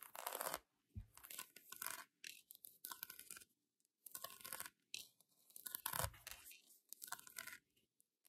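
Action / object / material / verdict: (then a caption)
scrape / polyurethane foam donut toy / polyurethane foam / none. A pink polyurethane foam donut squishy toy with a painted glaze is held and scratched by long acrylic nails. Bursts of bright, crunchy scratching and rasping come in quick strokes separated by short silences, with a few low thumps from handling. The close, dry texture has almost no ring after each stroke.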